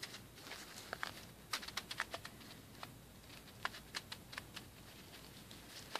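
Fingertips press and rub white, rice-shaped plastic pearl beads through a small clear plastic bag held up in both hands. An uneven series of quiet, short, bright clicks and crinkly ticks stands out over a soft steady hiss. Each click stops almost instantly with no ring.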